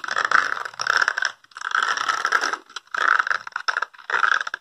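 Fingertips and nails scratch and rub the dense short spikes of a small, solid, handheld blue plastic or rubbery spiky brush close to the microphone. Dry, crackly scraping comes in four bursts separated by brief silences. It centres around 1.5 kHz, with bright hiss above and almost no low end.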